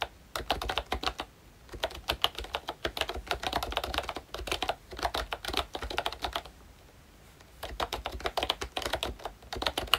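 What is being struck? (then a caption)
Plastic membrane keyboard with round keycaps. Fingertips of both hands type on a full-size pink ROYCHE Disney Mickey Mouse retro keyboard, which has a plastic case, round dark green plastic keycaps and membrane switches. Quick runs of short, bright plastic clicks and taps are heard, broken by brief pauses near the start and a longer pause before the final burst.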